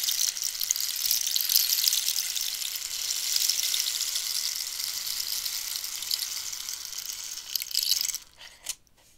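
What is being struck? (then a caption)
Hollow cactus-wood rainstick. A long, hollow cactus-wood rainstick is worked by long nails scratching along its ridged, holey wood and fingertips tapping it. This makes a steady, bright, hissing rustle like light rain for about eight seconds, then a brief louder scrape before it thins into a few faint taps and near silence.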